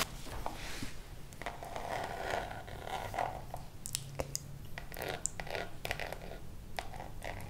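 A small, hollow Louis Vuitton monogram pouch of coated canvas, with a metal nameplate and zipper, is scratched and tapped with long acrylic nails while held close. Soft rustling scrapes run under sharp, bright clicks and taps, with a low steady hum underneath.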